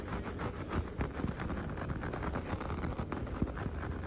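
Fingertips and short nails scratch and rub the coarse fibres of a flat, solid coir doormat with coloured stripes. The result is a steady, dry, low-heavy rustling scrape, broken by brief louder scratches that fade almost instantly.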